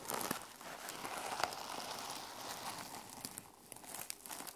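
Fingertips and nails scratch across the teal sequin cover of a small sequin-covered fabric journal lying flat on a table. The result is a continuous, quiet, bright crinkling rasp with a few sharper clicks standing out.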